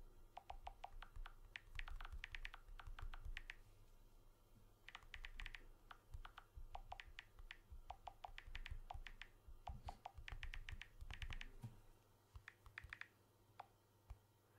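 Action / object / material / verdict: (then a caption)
tap / smartphone with glass back and aluminium frame / glass / none. A blue smartphone with a glass back and aluminium frame is held in one hand while fingertips tap rapidly on its glass back. Bursts of quick, dry clicking with bright edges come in clusters, separated by short pauses, over a steady low hum. The taps thin out to a few scattered clicks near the end.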